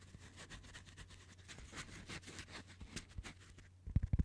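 Fingertips scratch and tap directly on the bare, hollow, fist-sized metal mesh grille of a Blue Yeti USB microphone. Soft, bright scratchy rustles run over a steady low hum near 74 Hz. Near the end comes a quick cluster of louder, deep, dull thumping taps.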